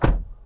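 A 2024 Toyota Grand Highlander SUV door is closed from inside the cabin, producing a single deep, muffled thunk with energy concentrated below 200 Hz. The sound fades over about half a second, and the close is judged solid.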